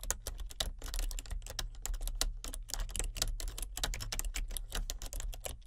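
Both hands with painted nails type steadily with their fingertips on a full-size plastic computer keyboard with color-changing backlit keys. The result is a dense run of quick, crisp plastic key clicks with bright, snappy tops and almost no ring, over a steady low hum.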